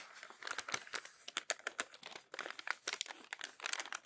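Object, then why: Glossy paper magazine pages. A palm rubs the crumpled pages of an open glossy paper magazine flat, then the pages are lifted and turned. The result is a dense run of bright, dry crinkles and sharp crackles, with quick scratchy bursts and no low end.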